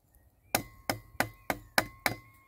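The back of a closed yellow-and-black folding saw handle, held in the hand, taps a fallen, solid dead tree branch with grey, lichen-spotted bark lying on the forest floor, knock-testing the wood for fatwood. Six crisp, bright knocks sound at a steady pace, each dying away almost at once.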